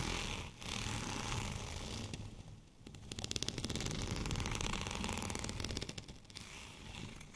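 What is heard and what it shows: Fingernails of both hands scratch a white, bumpy plastic rolling pin, giving a steady dry, scratchy rasp with brief pauses near the start and around the three-second mark. In the middle stretch the scratching speeds into rapid, bright, crackling ticks over the bumps before settling back to a softer rubbing texture.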